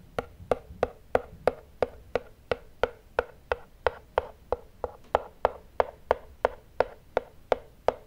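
Fingertips and nails tap and scratch the printed front face of a small, closed, rigid black cardboard iPhone retail box. Twenty-four short, dry, hollow knocks with a midrange tone come at a steady pace of nearly three per second, each dying away almost instantly over faint scratchy noise.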